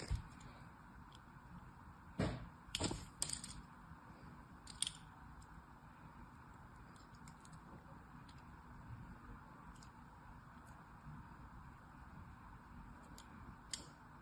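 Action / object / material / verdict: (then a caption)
scrape / bar of soap scored with a thin metal blade / soap / none. A thin metal blade carves diagonal grooves into the edge and surface of a solid blue soap bar held in a hand. Short, sharp, bright scraping and scoring crackles rise at irregular moments over a quiet, steady low hiss.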